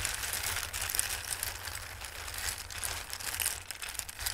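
Both hands, with long red-painted nails and flat fingertips, rub and shuffle across many small, hard, dry red, yellow and green tree- and star-shaped pasta pieces filling a shallow dark round bowl. The sound is a steady, bright, crisp rustling with dense tiny clicks that swell and ease throughout, over a faint low hum.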